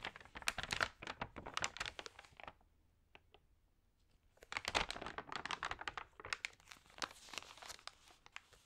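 Fingertips rub the glossy, wavy pages of an open paper magazine and flip one page over, giving dense, bright crinkling and rustling. The crinkling runs for about two and a half seconds, drops to near silence with a couple of faint ticks, then returns in sharp, crackly bursts that continue to the end.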